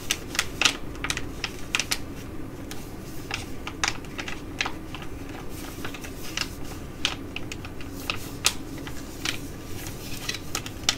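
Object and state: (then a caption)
Crinkled foil sheet mask pouch. A filled, soft green foil-laminate sheet mask pouch is held in both hands and crinkled while long nails tap and scratch it. Quick, sharp, bright ticks and scratches are heard over a steady low rustle, each dying away almost at once.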